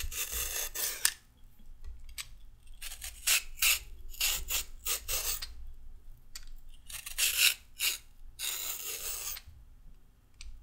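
A solid raw carrot, held upright, is scraped lengthwise with a red-handled metal peeler. The result is a series of short, bright, rasping strokes that come in bursts with brief pauses between them. A faint, steady low hum sits underneath.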